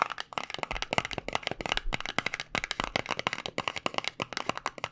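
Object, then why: Small paperboard box. A small white paperboard cosmetic box, held in the fingers, is tapped on its edges with nails and fingertips. About thirty quick, dry clicks and taps come in a steady, uneven flurry, each short and bright with almost no ring and little low end.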